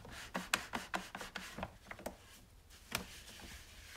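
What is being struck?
Plastic coffee maker body.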